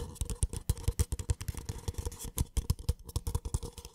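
A small, empty, hollow white paper cup is scratched with short nails and tapped on its side and base with the fingertips. The result is a quick, uneven run of soft, dull, low hollow thumps that stop almost at once, with a faint scratchy rasp between the taps.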